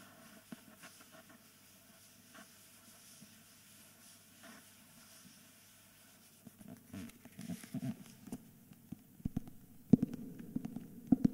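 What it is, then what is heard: Hardcover book with paper jacket, scratched. A thick hardcover book with a paper dust jacket is held on its side while fingers rub and scratch its spine and the back cover of the jacket. It starts as a faint, soft rubbing for about six seconds, then grows into louder, irregular papery scratches centered in the low-mid range. A few sharper, brief scrapes stand out near the end.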